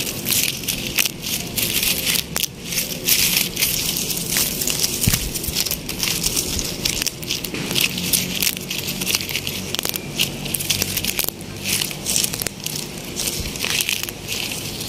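A bare hand grips and rubs together the green, dry-looking leaflets of palm fronds on a living palm plant outdoors. It makes a continuous bright, crackly rustling and crunching that stays dense and high-pitched throughout, with quick sharp snaps scattered through it.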